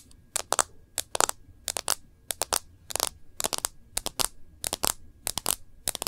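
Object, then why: Smartphone with glass screen and plastic case. A smartphone in a rose-gold bumper case is held in both hands while long nails tap its glass screen and the case rim. About 23 sharp, bright clicks land in quick irregular clusters, each stopping dead with no ring and almost no low end.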